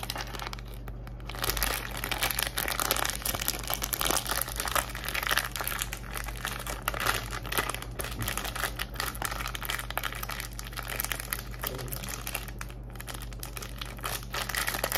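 Long acrylic nails scratch, tap and squeeze a small, full soft plastic film pack of wet wipes with a black glitter-pattern print, held in the hands. The result is dense, continuous crinkling and scratchy rustling, with quick tapping bursts and a bright hiss, over a steady low hum.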